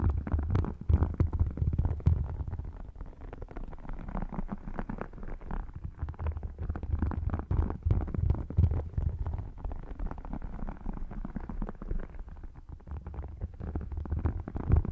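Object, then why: Faux crocodile-textured leather wallet. Fingertips and short nails scratch and tap the textured scales of an open, thin, flat red faux crocodile leather wallet. The result is a dense, muffled, low-pitched stream of rubbing and soft tapping, with almost no bright or high content, running steadily throughout.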